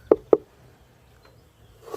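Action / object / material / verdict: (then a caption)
knock / wooden beehive with honeybee colony / wood / queenright. Two sharp knocks land on the side of a wooden beehive holding a honeybee colony, listened to with an ear against it. Near-quiet follows, then a brief rise of buzzing near the end. The colony's reaction to the knock marks it as queenright.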